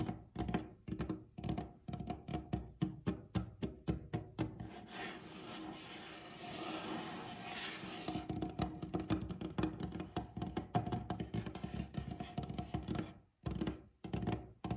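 Fingertips of both hands with short nails tap a large, light, glossy, solid varnished wooden tabletop. Quick, dull, low knocks land in an irregular rhythm with almost no ring. Midway the taps blur into a steady, softer rustling texture, then distinct tapping returns with a couple of brief pauses near the end.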